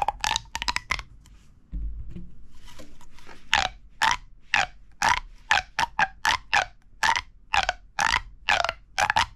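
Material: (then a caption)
Plastic. A hollow red corrugated plastic pop tube is pulled and compressed between the fingers, so its ribbed sections pop and crackle. A quick cluster of sharp pops gives way to a brief low rumbling pause, then a steady series of bright, squeaky, grunt-like pops follows at about two per second, roughly two dozen in all.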